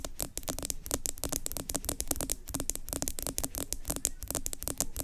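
Long acrylic nails rapidly tap and scratch the sides of a medium yellow plastic Tree Hut pineapple sugar scrub jar with an orange plastic lid, which appears full and is held in both hands. The result is a dense stream of crisp, bright plastic clicks with almost no ring, mixed with scratchy rasping and a low rumble underneath.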